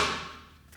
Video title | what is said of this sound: The Vanguard Story | because it sounds like wood